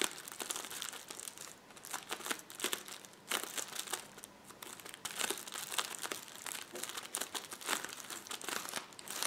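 Fingertips press and scratch across a roll of clear plastic bubble wrap resting on a table. The result is dense, bright crinkling and crackling with sharp little snaps in uneven bursts, almost no low end, and no lingering ring.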